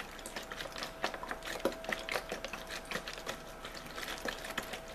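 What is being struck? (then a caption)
Thin plastic water bottle. Fingertips and nails squeeze, crinkle and scratch a hollow, thin-walled clear plastic water bottle with a label as the hands move along it. The result is a continuous stream of bright, crackly crinkles and scratchy ticks with sharper snaps scattered throughout, over a faint steady midrange tone.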